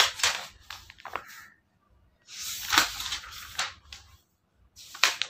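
Fingertips flip and turn the white pages of a thick paperback book lying flat on a wooden table. Bright, crisp rustles and sharp paper snaps come in bursts, with short silent gaps between the page turns.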